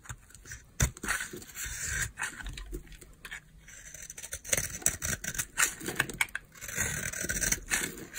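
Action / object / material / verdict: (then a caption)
scrape / bar of soap scraped by a knife blade / soap / none. A utility knife blade scrapes powdery flakes off a solid white oval bar of dry soap held in the hand. Dry, crunchy, bright scraping rasps come in quick uneven strokes, with brief pauses between them.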